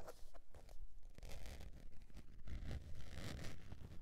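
A beige textured faux leather zip wallet, tilted up in hand, is scratched across its face and edge by long pointed nails. The result is a busy run of dry scratching and scraping strokes with bright hiss over a low rumble, the strokes coming in fairly regular bursts.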